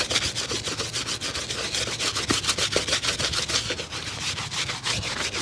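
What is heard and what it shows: A cobbler holds a single dusty grey leather work shoe with a rubber sole up by its sole and scrubs the hollow shoe with a small stiff brush in quick strokes. About seventeen fast, slightly uneven bristle strokes are heard as bright, hissy rasps with a faint dry thump beneath each one. The scrubbing runs steadily through the clip.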